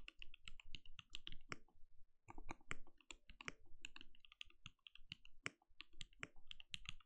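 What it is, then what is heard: Mechanical keyboard with plastic keycaps. Bare fingertips of both hands type steadily on a compact RGB-lit mechanical keyboard with a translucent plastic case and plastic keycaps, resting on a desk. Quick, dry keystroke clicks come in a dense, uneven stream, each with a bright clack over a low thump and almost no ring. There is a short pause near the two-second mark.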